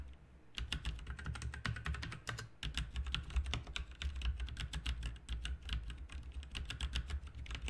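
Fingertips of both hands type continuously on a backlit RGB mechanical keyboard with plastic keycaps. A quiet start gives way to a rapid, steady stream of bright, crisp clicks that die away almost instantly. A constant low hum sits underneath throughout.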